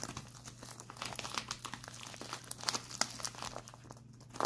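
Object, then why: Plastic instant cold pack. A white printed plastic instant cold pack is held upright, then twisted in both hands, squeezed and scratched with the fingertips. Dense, bright crinkling and crackling snaps come in quick irregular bursts over a faint steady low hum.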